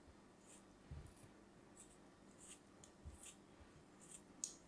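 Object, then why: Packed kinetic sand cube cut with a small metal knife. A small solid cube of kinetic sand, held in fingers with long pink nails, is cut into thin slices with a small metal knife. Soft, gritty scraping and crunching is heard as the blade passes through the packed sand, with bright, hissy bursts. The strongest cut lands near the end.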